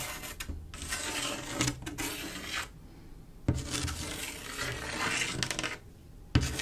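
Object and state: Glass mosaic tile panel scratched with nails.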